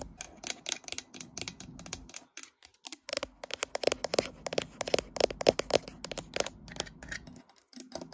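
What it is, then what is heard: Glass-backed smartphone. Long nails tap and scratch the matte glass back and top area of a smartphone with a metal frame, held in a tripod clamp. Rapid, irregular, sharp clicks with bright, dry ticks and scratchy rasps carry a faint tone around 540 Hz. There are brief pauses near the two-second and seven-and-a-half-second marks.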